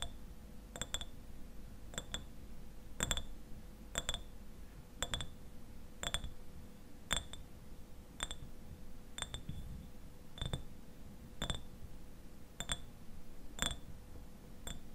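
Fingernails tap the sides of a clear glass eyewash bottle with a white cap, about half full of liquid. The taps come at a steady pace, some in quick pairs, each a bright, short glassy clink ringing near 3.5 kHz. A faint steady hum runs underneath.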